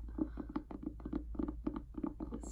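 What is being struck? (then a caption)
Hardcover book, paper and board. Fingers tap on a heavy hardcover book of prose and poetry, "Useless Magic," giving a quick run of soft, muffled, low-pitched knocks that die away almost at once. The weight of the book makes for a full, pleasant tapping sound.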